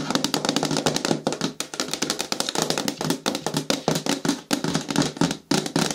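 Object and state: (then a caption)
Plastic bin with lid tapped with fingernails. Long nails tap rapidly on the sides and front of a hollow, medium-hard green plastic bin with a lid. The taps are dense, clicky and quick, each dying out almost at once, with a hollow body around 330 Hz and a bright upper edge. Short pauses break up the steady stream.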